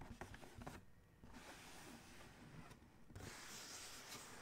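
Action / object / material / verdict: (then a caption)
scrape / cardboard shoe box lid / cardboard / none. Fingertips rub and scratch across the closed lid of a large, hollow black cardboard Adidas shoe box. A burst of quick scratchy strokes comes first, followed by a brief lull and then steady, dry, broadband rubbing. A second short pause gives way to brighter, hissier scratching at the end.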